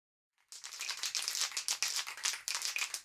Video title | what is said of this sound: MY STIRLING SINGLE #29 - SPRAY PAINTING THE PARTS | the noise you can hear is the agitator ball inside the can as I shake the can vigorously to mix the paint